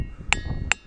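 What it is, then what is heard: Ringing rock (resonant diabase boulder). A hammer strikes a diabase boulder in a boulder field, and the rock rings. Two sharp hits are heard, each giving a bright metallic ping with a clear tone near 2.7 kHz, much like a bell. Faint high overtones linger between the strikes over a low background rumble.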